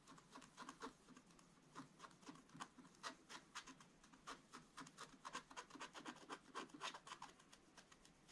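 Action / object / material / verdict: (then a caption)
scrape / scratch-art paper page scraped with a wooden stylus / coated paper / none. A wooden stylus rubs and scratches across a black-coated scratch-art paper page to fill in an area. It makes quiet, rapid, uneven strokes at about four per second, each a short dry rasp centered near 1 kHz with bright high hiss. Every stroke dies away almost at once.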